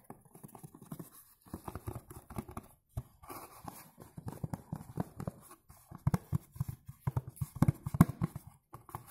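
Fingertips and nails tap quickly and irregularly on the front face of a tall, dark blue, textured cardboard Jimmy Choo Man Blue perfume box, probably holding a bottle. The taps are soft, dull and low, with no ring after each one, arriving in loose bursts that grow a little louder toward the end.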